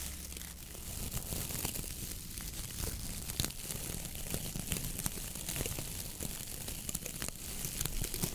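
Long nails scratch and rub the dry, stiff brown coconut coir bristles of a round dish brush head on a wooden handle. The result is a steady, dense crackling and scratching with bright, sharp ticks scattered throughout, over a low, rumbling undertone.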